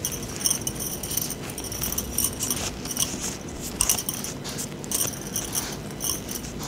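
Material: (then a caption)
Metal. A bunch of thin, solid metal bangles held in both gloved hands are clinked and rubbed against each other, with more bangles worn on the wrists. They make a steady run of bright, ratchet-like metallic clicks and jingles with short, high ringing tones, over a faint low rumble.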